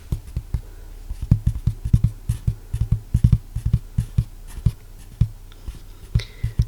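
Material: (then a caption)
Cardboard. Fingertips tap on a piece of cardboard that came as an insert packed with a purchased item. A quick, uneven run of soft, muted taps gives low, dull thuds that die away almost instantly.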